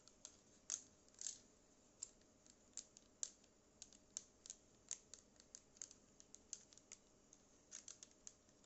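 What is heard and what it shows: Long acrylic nails tap the plastic body and the top row of buttons on a small black cylindrical Bluetooth speaker with a yellow logo. The result is a gentle, irregular run of quiet, sharp, bright clicks and ticks, each dying away instantly, with almost no low end between them.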